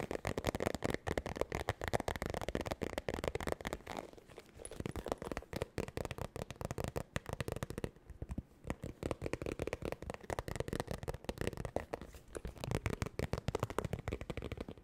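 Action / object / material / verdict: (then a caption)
tap / vinyl makeup bag / vinyl / none. Long nails rapidly tap and scratch a medium zippered holographic makeup bag with an iridescent faux-croc vinyl surface, hollow and semi-rigid. Fast, chaotic clusters of dry, crackly clicks and scrapes fill the clip with a low body and a midrange tone, pausing briefly around four and eight seconds before the tapping resumes.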